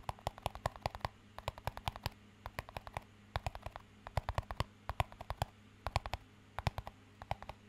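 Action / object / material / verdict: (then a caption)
tap / small clear plastic cup / plastic / none. A small, empty, hollow clear plastic cup is tapped and scratched with fingertips and nails. The result is an irregular, rapid series of short, dry clicks and taps with bright edges and almost no ring, over a steady low hum.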